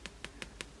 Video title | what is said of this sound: New Aliexpress doll haul 2nd wave Paola Reina fake Blythe like remake review unboxing 36cm vinyl | a good thick vinyl it's solid